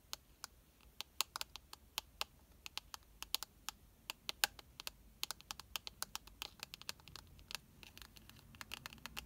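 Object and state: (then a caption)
Blush compact tapped with nails. Long nails tap and scratch the shiny gold rim and baked pink pan of a round, palm-sized blush compact. The result is a quick, irregular run of many sharp, bright clicks and ticks with almost no ring, set over a faint, quiet hiss.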